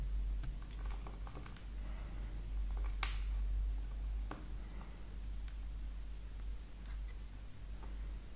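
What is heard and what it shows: A solid green and red wax candle block is held in the hand while a metal folding knife carves and scrapes its red layer into small crumbly shavings. Soft, uneven scraping is heard with scattered crisp clicks over a steady low rumble, including one sharper snap partway through.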